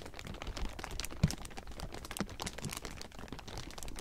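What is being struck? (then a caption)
Thin plastic film. Fingertips scratch and grip a large heap of thin clear plastic sheeting, producing a dense, continuous crinkle of quick dry crackles and rustles. A few sharper crunches stand out, with the loudest near the middle, over a soft low rumble from the handled film.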